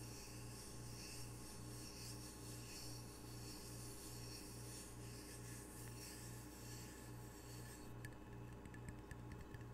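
Fingertips rub the glazed face of a small, solid, square ceramic tile coaster with red octopus art, held in one hand. It makes a soft, steady rasping friction over a constant low hum with a rhythmic pulsing throb. Near the end, a few light, bright ticks break through the rubbing.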